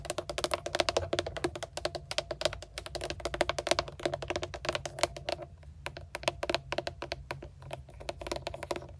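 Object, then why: Plastic steering wheel airbag cover with trim ring, tapped with long nails. Long decorated acrylic nails tap quickly on a truck's steering wheel centre: a hollow, hard plastic airbag cover with a GMC emblem and a chrome-look oval trim ring. The sound is a rapid, uneven run of sharp, dry, clicky taps with a short, hollow plastic resonance around 650 Hz that dies away almost instantly, over a faint, steady low hum.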